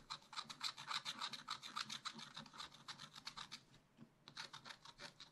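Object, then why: Wax-coated scratch-art paper scratched with a wooden stylus. A wooden stylus rapidly scratches black wax-coated scratch-art paper in a spiral-bound pad, filling in a round tree. Quick, bright, raspy scratching strokes repeat at a brisk, uneven rhythm, with almost no low end. The strokes pause briefly just before the four-second mark, then resume.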